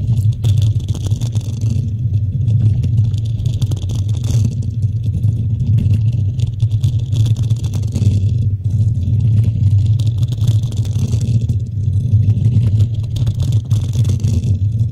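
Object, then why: Metal mesh microphone grille. Long nails on both hands scratch the hollow black metal mesh grille of a desktop microphone. The result is a steady, dense low rumble centered near 94 Hz with a fast rasping texture, and brighter scratchy hiss swells in and out over the 15 seconds.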